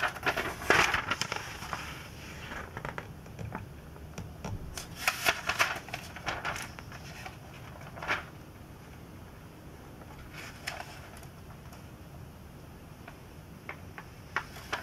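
An open glossy paper magazine, the last Sports Illustrated issue of 2002, is held at the edges while fingertips tap and rub its thin pages, making them flex and warp slightly. Bright, irregular crinkles and crackles come in clustered bursts, loudest in the first half, then thin out to a soft rustle with occasional sharper crackles near the end.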